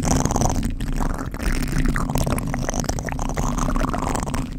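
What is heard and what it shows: Fingertips of both hands scratch a black foam windscreen on a microphone, producing a dense, continuous crackling rustle. The sound is dominated by a heavy, boomy low rumble with fainter scratchy texture above it, holding at a steady level throughout.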